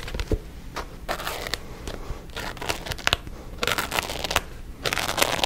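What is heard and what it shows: Fingernails tap and scratch the card back cover of a paperback book held close to the mic. Sharp, dry taps mix with bright, rasping bursts of scratching that swell and fade between quieter pauses.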